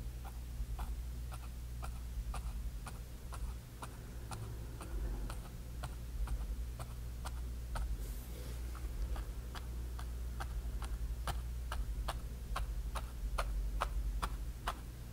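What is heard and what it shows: The tip of a flat bristle brush dabs grey paint again and again onto a small canvas panel coated with dry orange paint. Each dab makes a short, crisp tap, evenly spaced over a steady low hum.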